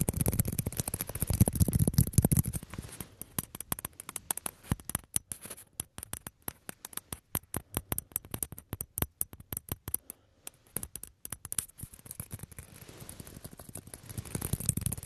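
A small, hollow orange plastic table tennis ball is held between the hands and tapped and scratched with fingertips and nails. Rapid, irregular, sharp dry clicks and taps patter across the clip with very short decay, with softer rubbing and scratching that swells at the start and end.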